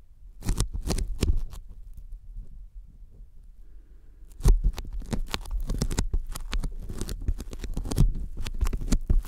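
Sticky fingertips tap quickly on a thin white closed-cell polyethylene foam sheet lying flat in front of the microphones. Rapid, soft, low thumps come with brief bright sticky crackles as the fingers pull away. After a quieter lull of faint rustling in the middle, the tapping resumes, denser and louder.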